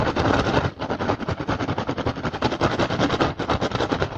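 Fingertips and short nails tap and scratch rapidly and forcefully across the weave of an upturned, hollow, empty woven rattan basket. The result is a dense, continuous stream of dry, crackling taps and scrapes with a hollow low body and bright, raspy texture, barely pausing throughout.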